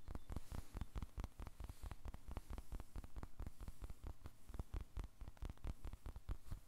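A small, blue, solid, soft polyurethane foam squishy toy is squeezed and tapped with the fingertips and their short nails. A rapid, steady series of short, dull, low-pitched taps with faint bright clicks plays over a quiet, low hum. Each tap dies away almost at once.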